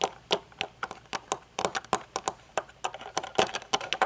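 Long nails tap the top of a pair of metal-frame aviator sunglasses with dark lenses standing on a table, then run along the thin metal temple arm. About twenty quick, crisp clicks and light scrapes sound, bright and thin with almost no low end. Each tap dies away almost at once.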